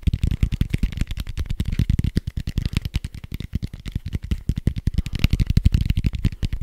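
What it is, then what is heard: Foam dice. A soft red foam die with white dots is held close to the microphone and tapped rapidly with fingertips and nails. The result is a fast, steady stream of short, dull, low thumps with very little brightness, each dying away almost instantly.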